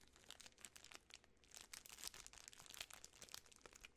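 A full Butterfinger candy bar in its sealed plastic film wrapper is crinkled and rubbed by fingertips and long nails. It makes a quiet, continuous run of bright, crisp crackles with almost no low end. Each crinkle stops instantly with no ring.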